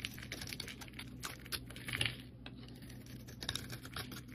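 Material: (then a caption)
Soap. A solid cream soap bar held in the hand is scraped with a metal blade, curling flakes off. Quiet, rapid, crisp scratching and ticking sounds come in a steady flurry, bright and dry with almost no ring, over a faint low hum. A few slightly louder scrapes stand out near the middle.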